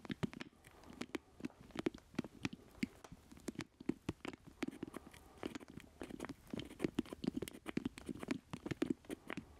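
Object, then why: Plastic joystick controller. A black plastic joystick controller with a hollow square base is held close in both hands while fingertips and nails tap and scratch its casing. Rapid, irregular dry taps with a hollow, low-mid knock die away almost instantly. Soft scratchy rustling fills the gaps between them.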